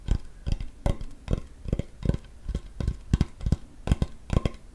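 A large, flat, solid wooden cutting board held close to the microphone is tapped with fingertips and nails, the hand lifting between taps. Each tap makes a short, dull, low thump that dies away almost instantly, with a faint bright click from the nails. The taps come in an uneven rhythm across the clip, some in quick pairs.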